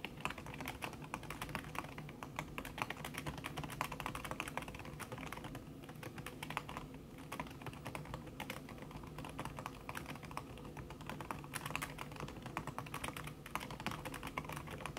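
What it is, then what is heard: Keyboard with silicone key cover being typed on. Fast typing with fingertips and long red-painted nails on a thin backlit aluminium keyboard whose plastic keys sit under a red silicone skin. A dense, continuous stream of soft, muted taps and clicks continues for the full fifteen seconds at an even pace, with no pauses.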